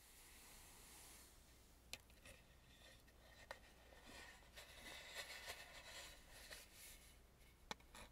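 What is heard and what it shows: A hollow, face-sized Balinese carved wooden mask, painted red with gold trim, is held in both hands while fingertips and nails rub and tap its front surface. The soft, bright, scratchy rubbing runs quietly throughout over a faint low hum, broken by seven short, sharp taps that stop dead with no ring.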